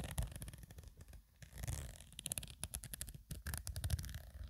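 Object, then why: Woven nylon zippered pouch. Long acrylic nails scratch and rub across a medium black woven nylon/polyester True Religion zippered cosmetic pouch, soft and hollow and apparently empty or lightly filled, with the hands near its metal zipper. The sound is quiet, with a dense run of quick, crisp scratches reaching high and bright over a soft, low, rumbling hollow thump from the fabric.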